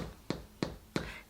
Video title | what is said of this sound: Easy Homemade Bread Recipe, No Eggs, No Milk, Only $.44 a loaf | here is our bread all done when you tap it it sounds hollow inside